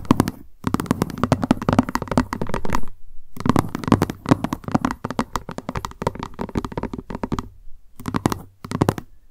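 Long nails tap rapidly on the lid and sides of a small, hollow, white plastic lunch box with a cat print resting on a surface. The result is dense bursts of short, dry, hollow clicks with a low, boxy body and bright tips, broken by brief pauses.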